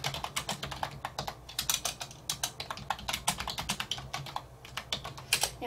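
Fingertips on a hand wearing rings type continuously on the hollow keys of a black plastic wireless computer keyboard resting on a wooden desk. Quick, bright, short clacks patter in an uneven stream, with a soft low thump under each keystroke.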